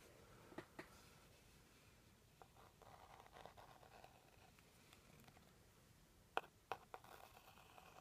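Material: Cardboard.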